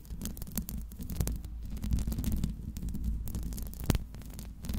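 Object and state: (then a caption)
Metal microphone grille being scratched. Long pink nails scratch continuously across the hollow metal mesh grille of a Blue Yeti microphone. The sound is a dense, low, boomy rumble with a steady hum, broken by quick scratchy rasps and short bright clicks that fade almost instantly.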